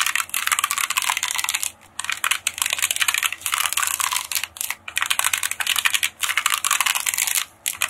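A long, hollow roll of silver holographic foil wrapping paper is held in both hands and tapped, squeezed and scratched with long painted nails and fingertips, crinkling the foil. The result is a dense, bright, crackly stream of quick, dry taps and scratches, broken by a few brief pauses.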